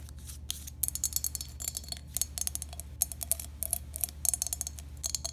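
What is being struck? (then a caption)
Glazed ceramic toothbrush holder. Long pink acrylic nails tap and scratch a hand-sized, hollow, empty green glazed ceramic toothbrush holder with three holes in the top. A rapid, irregular series of bright, crisp clicks and scrapes dies away almost instantly, over a steady low hum.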